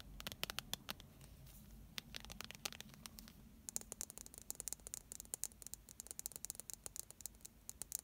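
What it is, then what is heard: Plastic squeeze tube tapped with nails. A filled pink plastic primer squeeze tube is tapped and scratched with long painted nails while it is turned in the hands. Quick, irregular bursts of sharp, bright clicks and dry scratches come over a quiet, low background rumble. Each tap dies away almost instantly.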